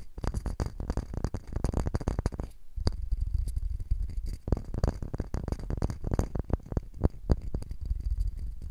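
Knuckles and fingertips tap and knock rapidly on the surface of a flat, light wooden block or box face set in front of the recorder. The knocks are short, dry and thuddy, mostly low in tone with little ring, coming in dense bursts with a brief pause partway through.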